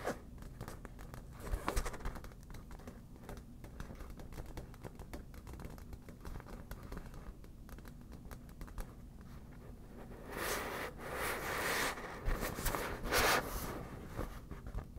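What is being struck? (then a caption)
Inflated vinyl beach ball. Long nails scratch and tap an inflated, hollow yellow vinyl beach ball with its valve visible as it is rotated. Soft, dense scratching and light tapping continue throughout, with a brighter, louder burst of crinkly scratching toward the end.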